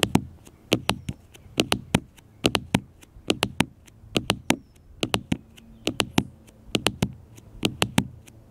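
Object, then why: Smartphone with glass screen and plastic case. Fingertips and nails tap repeatedly on a small black smartphone with a glass screen and plastic case, lying flat on a metal mesh picnic table. The taps are sharp, dry clicks with a soft low thump underneath, coming in irregular pairs and clusters. Each one dies away almost instantly.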